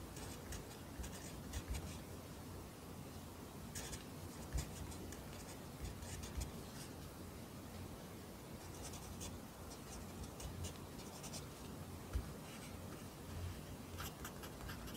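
A pencil writes Korean handwriting line by line in an open lined paper notebook, its graphite scratching across the paper. The quiet, steady scratching carries brief brighter bursts of high strokes over a low, dull rumble throughout.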